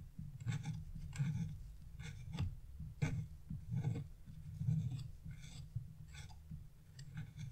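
A metal chisel tip scrapes leaf shapes into a flat, black-coated scratch-off art page with repeated short strokes. Each stroke makes a soft, dry, raspy scratch with a brief bright hiss over a low, muffled rumble, and the strokes come in quick bursts with short pauses between them.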